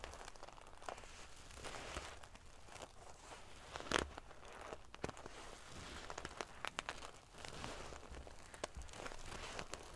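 Fingernails scratch and ruffle the silver metal paillettes covering a sequin pillow. The result is a steady, quiet, crinkly rustle dotted with sharp, bright ticks and clicks, with one louder scraping burst partway through.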